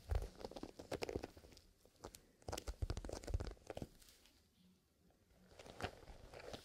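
A small, soft black leather zipper pencil case with its zipper closed is held, squeezed, rubbed and scratched with the fingertips. The result is a run of soft crunchy, crinkling rustles and scratches with low, muffled thumps, busiest in the first four seconds, a quiet lull, then more rubbing near the end.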